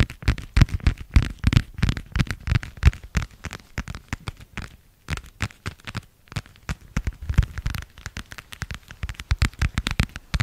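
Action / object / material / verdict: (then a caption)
tap / thin plastic passport cover / plastic / none. A thin, flat, light-blue marbled plastic passport cover, held in both hands, is tapped with long nails in rapid, irregular bursts. Each tap is a short, dry click with little ring, carrying a low, hollow thump and a faint bright edge. Brief pauses break up the clusters of tapping.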